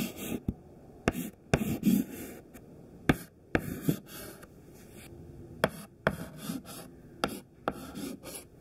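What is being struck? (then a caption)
Chalk stick on a slate chalkboard. A thin white classroom chalk stick held in the fingertips draws rows of squares on a flat black chalkboard in repeated short scratching strokes. About ten sharp, bright taps stand out as the chalk meets the board, each followed by a soft, dry, gritty scrape. Quiet pauses fall between the strokes.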